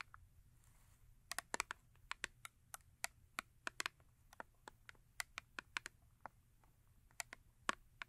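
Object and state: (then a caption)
Cardboard soap box tapped with nails. Long acrylic nails tap and scratch the front and top of a small paperboard Yardley soap box resting on fur. About 26 quick, dry, bright clicks come in an irregular rhythm, each dying away almost instantly over a faint low hum.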